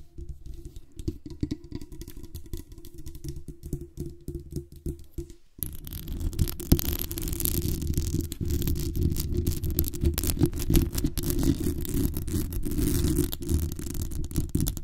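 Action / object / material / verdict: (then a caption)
scrape / microphone with metal mesh grille / metal mesh / none. Long acrylic nails tap the metal base of a black condenser microphone with a hollow metal mesh grille, making quick, quiet, low thuds for about five seconds. The sound then turns into a louder, continuous scratchy rustle with a faint bright hiss as the nails scratch the top of the grille, steady to the end.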